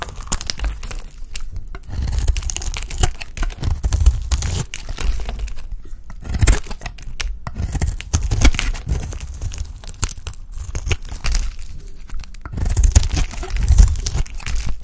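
A dry, oval, solid lilac soap bar held in hand is shaved and scraped with a box-cutter blade, sending flakes falling. Dense, crisp crunching and scraping strokes come in bursts with short pauses, with a muffled low thump under most strokes.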